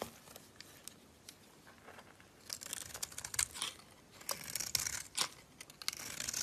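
A box-cutter blade scrapes shavings off the face of a solid bar of green soap held in a hand with long nails. Soft, dry scraping comes in short bright bursts: faint at first, then louder crisp, crackling strokes in the second half.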